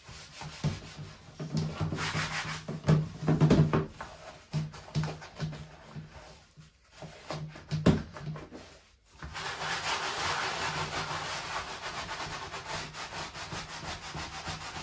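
Gloved hands scrub the rim and sides of a hollow, empty white plastic dish drying rack with a sponge as it rests on the sink drainboard. Irregular bursts of rough rubbing and squeaky scraping ride over a low hum, with brief pauses near 7 and 9 seconds. After that comes a steady, continuous scrubbing hiss until the end.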